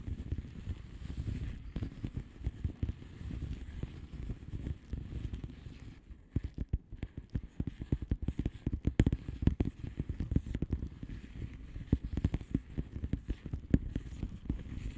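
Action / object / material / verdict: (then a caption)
tap / plastic bubble wrap mailer envelope / plastic / none. Long manicured nails of both hands tap and scratch a flat blue plastic bubble wrap mailer envelope with air-filled bubbles. The result is a steady run of quick, dull, low-weighted taps and soft crackling scratches that stop almost instantly. A brief quieter stretch falls in the middle before the tapping picks up again.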